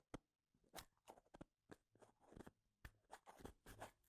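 Fingertips brush and click the ends of a small, full cup of wooden toothpicks held close to the mic. The result is a quiet, irregular series of short, dry, crunchy clicks and scratchy rustles, each dying away almost instantly.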